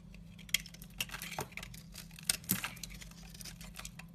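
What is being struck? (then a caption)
Bar of soap cut with a knife. A utility knife slices and scrapes flaky curls off the edge of a solid white bar of soap. It makes a series of short, dry, bright crackling scrapes and sharp ticks, a few standing out louder, over a faint steady low hum.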